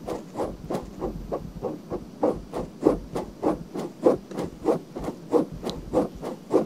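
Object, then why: Silicone binaural microphone ear. Long nails scratch the outer ear and ear canal area of a pale pink silicone binaural microphone ear held in a hand. About thirteen short, dry scratching strokes repeat at a loose, steady pace, each a soft rasping burst centred in the low-mid range with little bright content.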